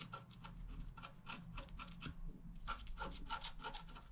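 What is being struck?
Wax-coated scratch art card scratched with a wooden stylus.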